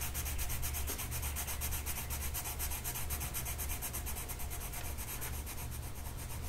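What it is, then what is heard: Paper coloring sheet being colored with pencil. A colored pencil tip is rubbed back and forth across a flat printed mandala paper sheet on a table, held in place by one hand. A continuous scratchy, papery rubbing with a bright, quick stroking texture plays throughout over a steady low hum, without clear pauses.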